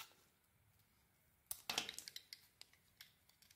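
A metal blade shaves thin strips off a solid, gold-coated white bar of soap held in the hand. After a near-silent start, there are about ten quiet, crisp, bright scraping and snapping cuts, with a dense burst of shaving in the middle. Each cut is short and dry, with almost no low end and very little ring.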